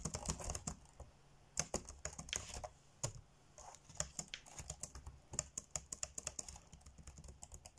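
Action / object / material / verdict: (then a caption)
tap / plastic laptop keyboard keys / plastic / none. Fingertips tap fast on the dark grey plastic chiclet keys of a laptop keyboard while typing, producing a rapid run of crisp, bright clicks with faint low thumps beneath. Each click stops almost instantly, and the bursts come in uneven clusters separated by brief quiet gaps.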